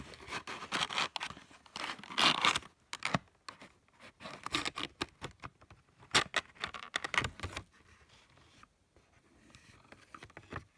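Fingertips and nails scratch and rub along the flat top edge of a small printed cardboard box of scented markers with the markers inside. The result is a run of dry, bright scratching and rasping bursts with little low end, loud at first and then trailing off into softer, sparser rubs.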